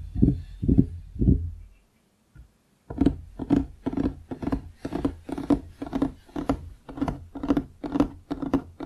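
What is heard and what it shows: Fingertips and nails of both hands tap rapidly on a large, solid wooden desk surface beside a foam-covered microphone that is not touched. Three quick bursts of dull, low knocks are followed by a brief silence, then a steady run of tapping at about two bursts per second. Each burst is a short, tight thud with little ring.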